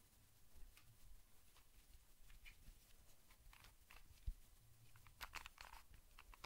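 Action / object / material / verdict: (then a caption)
tap / plastic puzzle cube / plastic / none. Fingertips and nails tap and scratch a small, solid, hand-sized colorful plastic Rubik's cube held close to the microphone. Soft, quiet clicks and bright scratchy ticks come in irregular bursts over a low rumble. One sharper knock stands out partway through, and a denser cluster of crisp taps follows near the end.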